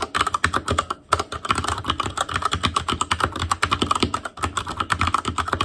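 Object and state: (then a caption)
Plastic mechanical keyboard. Fingertips type continuously on an Asus Claymore Core mechanical keyboard with plastic keycaps, producing a rapid stream of short, sharp clacks. The clacks have a bright click around 1.3 kHz and a light low thud beneath. The typing pauses briefly near the first second and again around four seconds.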